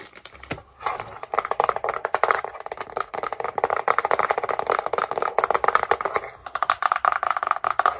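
A small, tall, empty brown kraft cardboard box with its top flap open is held in both hands and tapped and scratched with long painted nails. The result is a rapid, continuous stream of short, dry, hollow taps and scratchy rustles centered in the midrange, with almost no low end and only brief lulls near the start and around six and a half seconds.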